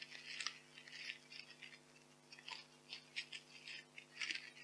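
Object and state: Polystyrene foam packing peanuts.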